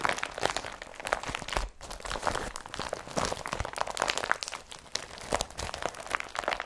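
An empty blue IKEA BRATTBY woven polypropylene carrier bag, a woven plastic tote lying on a table, is pressed and rubbed with the fingertips. The result is a dense stream of dry, bright crinkling and crunching with many short, sharp crackles and almost no low end.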